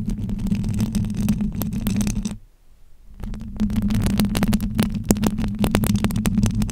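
Long acrylic nails scratch and tap across the silver wire-mesh grille of a bare, hollow-headed handheld-size microphone with its foam cover removed. Dense, scratchy rasping with sharp clicks rides over a steady low hum. The sound drops to near silence for just under a second midway, then resumes at the same intensity.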